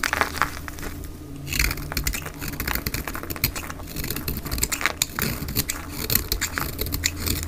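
A black utility blade shaves flakes off the face of a solid, bright green oval bar of dry soap held in both hands, sped up to double speed. Dense, crisp scraping and crackling cuts run quickly one into the next, bright and sharp over a steady low hum.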